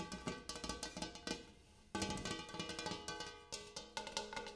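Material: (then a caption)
Metal. A large metal bowl used as a coffee table is tapped in quick, uneven runs, each tap giving a short, ringing, cowbell-like metallic tone centered near 880 Hz with bright overtones. The tapping pauses briefly in the middle, letting the ring fade, then picks back up.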